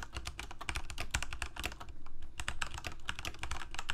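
Fingertips of both hands rapidly type on a full-size Corsair mechanical keyboard with plastic keycaps on mechanical switches, a hollow plastic case and a blue backlight. The result is a dense, uneven stream of short, sharp clacks, each with a bright click and a low, hollow thump. Every keystroke dies away almost instantly.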